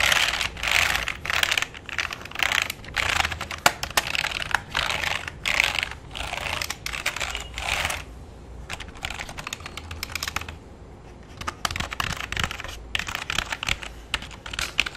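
Fingertips type and tap quickly across the keys of a full-size black plastic keyboard with a hollow body resting on a lap. Dense, bright plastic clicks come in rapid bursts separated by short pauses. A quieter stretch of lighter tapping falls in the middle before the fast typing picks up again.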